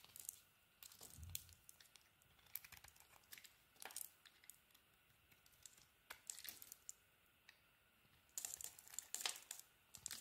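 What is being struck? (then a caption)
Bar of soap. An orange and green bar of soap is peeled and carved with a utility knife blade. Quiet stretches are broken by short, bright scraping crackles and clicks as the blade shaves the soap, with a dull low thump early on and a dense burst of crisp cutting near the end.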